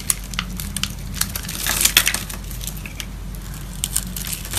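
A metal box-cutter blade scores and scratches a grid pattern into the surface of a solid dark green-black bar of soap held in a palm with long neon nails. The result is a steady run of dry, bright scraping and crisp crunchy clicks over a low constant hum. The scratching thickens into a denser, louder burst near the middle.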